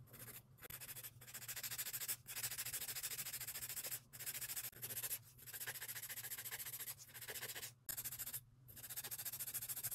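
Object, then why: Acrylic nail extensions filed with an emery board. Long acrylic nail extensions have their sides and tips filed with a grey emery board held in a gloved hand. Bright, rasping strokes run in rapid bursts separated by short pauses, over a faint steady low hum.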